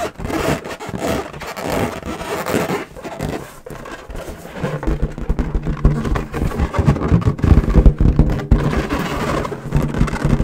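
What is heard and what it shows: An inflated, hollow, air-filled lilac latex balloon is tapped and scratched across its surface with long nails. Rapid, irregular low, dull thumps mix with scraping and rubbing squeaks. The tapping grows louder and denser in the second half.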